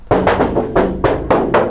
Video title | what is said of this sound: How To Transform Your Work Van Into A Camper In 4 Days | you can hear what the inside of a van sounds like. We want to dampen that sound